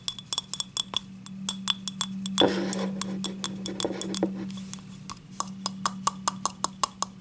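Long nails tap and scratch the rim and ribbed side of a small, hollow, empty yellow ribbed ceramic cup held close up. Quick, bright clinking taps come in a rapid series, with a noisy stretch of scratching in the middle, all over a steady low hum.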